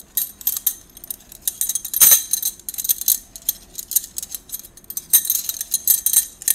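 A bundle of hollow gold stainless-steel drinking straws is held in both hands, rolled and shaken together so the tubes clink. The sound is a dense run of bright, thin metallic ticks and jingles with almost no low end and only brief ringing, swelling into louder rattling bursts now and then.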